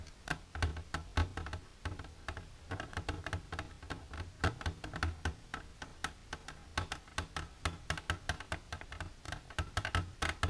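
Long silver nails tap quickly and repeatedly on the wall of an empty, clear plastic container standing upright. The taps come as a rapid, uneven run of short, dry clicks with a hollow low thump around 82 Hz and little ring after each hit.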